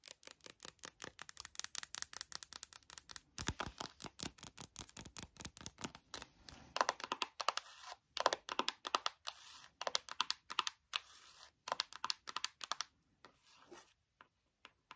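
Long nail tips tap fast on the cover of a closed white cardboard eyeshadow palette, first held up and then laid on a table. Dozens of quick, dry, bright clicks come in rapid bursts with faint scratchy rustles between them, almost no low end and no ring. The tapping thins out into a few sparse taps near the end.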